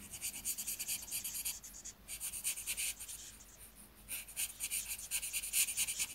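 A marker tip held in the fingers rubs across a thin white paper sheet printed with outlined letters, filling in one letter while the other hand holds the page. Quick, irregular strokes make a soft, bright, hissy scratching that rises and falls. The strokes ease off briefly in the middle, then pick up again, with almost no low end.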